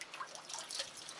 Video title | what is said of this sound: Gold Panning Masterclass | Kuuletteko noita kiviä raaputtavan? En ravista sitä niin hulluksi, että kaikki putoaa. Vain edestakaisin tarpeeksi kuulemaan äänen liikkuvan.